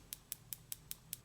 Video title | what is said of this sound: Kiss Acrylic Nail Kit Demo Tutorial | once they're nice and dry it'll be a louder tapping noise so now you know they're dry